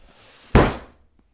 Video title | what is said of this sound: Funboxing! - A MASSIVE package of exotic and native acoustic guitar tonewood from Conway Tonewoods | When the box has a great tap tone, you know you're in for a party.